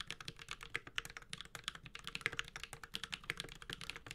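Fingertips of both hands type continuously on a Space65 Cybervoyager, a 65% mechanical keyboard with a metal case, Holy Panda switches and ABS plastic keycaps. The result is a steady stream of quick, bright clacks that die away almost instantly, with little low-end thump beneath them.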